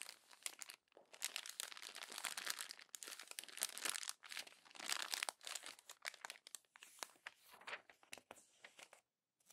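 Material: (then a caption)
Paper. Fingers with long nails crumple and turn the thin pages of an open glossy paper magazine. Dense, bright crinkling and crackling bursts come in quick, soft runs with brief pauses between them, and there is almost no low end. The clip ends in a short silence.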